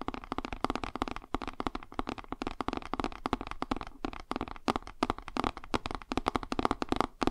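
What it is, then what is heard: Cardboard board book. A cardboard board book is held flat while fingertips and nails scratch and tap along its page edges and spine. The result is a dense run of short, dry clicks and scratchy taps with a midrange emphasis and almost no ring, coming in uneven bursts.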